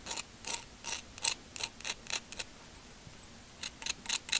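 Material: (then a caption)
Shell. A wooden bamboo skewer tip scratches the ridged outer surface of a hand-sized, hollow, cream-coloured spiky calcium carbonate seashell held in one hand. Fourteen short, dry, bright scratching strokes come in quick bursts, with a pause in the middle. The sound is thin and high with almost no low end.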